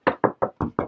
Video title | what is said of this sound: Epic Treasure Hunt Full Movie! | You can hear a different sound.